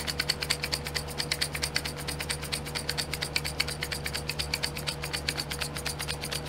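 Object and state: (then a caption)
Plastic glitter pots tapped with nails. Long nails rapidly tap and scratch the lids of small clear domed plastic pots filled with glitter, set in a pink plastic tray. It makes a fast, steady run of short, bright plastic clicks with a ratchet-like rhythm, each dying away almost at once, over a faint constant low hum.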